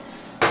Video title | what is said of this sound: HOW TO MAKE RUSTIC FRENCH BREAD | tap on the bottom and if it sounds hollow then it's probably done